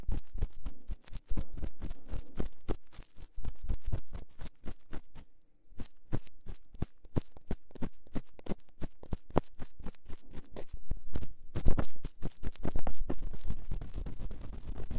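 A thin metal pick scratches inside the canal of a silicone ear on a binaural microphone. It makes a rapid run of short, dry scraping strokes, with a deep, muffled low-end thud under each. The strokes pause briefly around the middle and again near the end before growing louder and denser.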